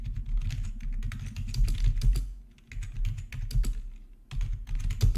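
Both hands type with their fingertips on a plastic RGB membrane keyboard with black backlit plastic keycaps resting on a marble surface. The result is a quick, uneven run of soft, muffled clacks with a deep thuddy body and brief bright ticks. The typing pauses briefly twice before resuming.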